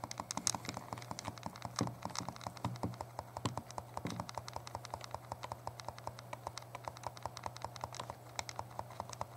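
A small, hollow, translucent purple plastic Game Boy Color is held in both hands while the thumbs rapidly press and tap its buttons. Dozens of quick, dry plastic clicks and taps patter along unevenly, each very short and bright, over a faint steady low hum.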